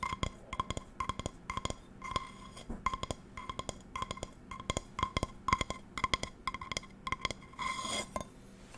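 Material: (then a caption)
Metal. An empty non-stick metal frying pan with a patterned steel base is tapped with long nails close to the microphone, then turned and tapped again. Quick, bright clinks come in irregular bursts, each with a short metallic ring around 1 kHz and high overtones. A brief rustling noise near the end accompanies the pan being turned.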